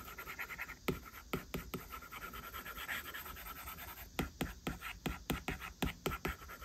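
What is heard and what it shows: A plastic stylus tip draws short strokes and taps on the glass screen of an iPad while the fingertips of the other hand touch the screen. Soft, scratchy writing sounds run throughout, broken by sharp, dry taps that die away almost instantly. A faint steady high tone hums in the background.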